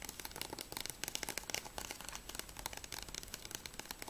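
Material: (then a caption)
Plastic. Fingernails tap rapidly on a closed, hollow plastic PS3 game case for Battlefield Bad Company 2, first on the front cover and then along the spine. The result is a fast stream of light, bright, clicky plastic taps that stop short with almost no ring.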